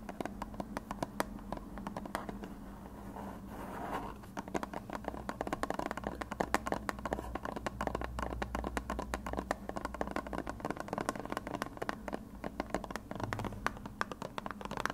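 A white plastic glue bottle with a blue cap is held in front of the recorder and tapped and rubbed with fingertips and short nails, giving a steady stream of quick, hollow clicks and soft scratching. The dry taps die away almost instantly over a faint low hum.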